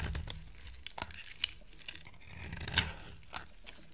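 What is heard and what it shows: A solid oval green soap bar held in the hand is scraped and carved with a utility knife blade. Dry, crisp scraping and crumbly rasps run throughout, broken by sharp, bright clicks as the blade bites and chips away at the soap, with a low soft rumble underneath.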